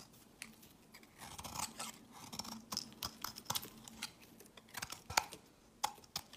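A metal utility-knife blade scrapes flakes off the face and edge of a solid, palm-sized white bar of soap held in the hand. The result is a series of short, dry, crisp scraping strokes with bright high-frequency crackle and a faint steady hum underneath. The strokes come in uneven bursts, with a few sharper ticks standing out.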